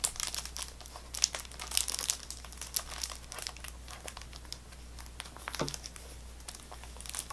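A sealed Extra gum box, cardboard wrapped in cellophane plastic film, is rubbed and scratched with fingertips and nails. Bright, crisp crinkling and scratching come in quick irregular bursts over a faint, steady low hum.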